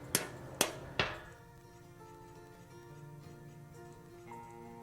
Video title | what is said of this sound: Spindle Bearing Replacement | you can tell when a bearing is seated properly when the sound of the metal tapping changes